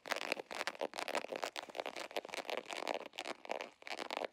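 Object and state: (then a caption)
Holographic vinyl zipper pouch. Fingernails scratch and rub quickly across the surface of an embossed holographic vinyl zipper pouch. The result is a fast series of dry, crinkly scrapes with a bright, hissy edge and no low end. Each stroke stops abruptly with no ring.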